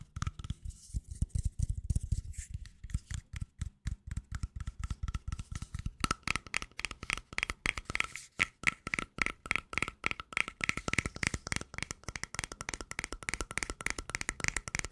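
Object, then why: Small plastic cream jar with screw lid. Long nails rapidly tap and scratch the lid and body of a small cylindrical plastic cream jar with a green label and a black screw lid, held close to the microphone. Crisp, dry clicks with no ring come in a steady stream: softer, lower taps for the first six seconds, then brighter, denser tapping and scratching.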